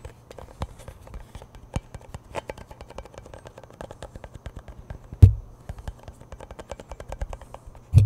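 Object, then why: Cardboard chip tube. Fingertips and nails scratch and tap the label and lid end of a hollow cardboard Pringles chip can tilted in the hands. A steady stream of soft, quick taps and scratchy ticks sits over a low, hollow resonance. Two louder, booming thumps land near the middle and at the very end.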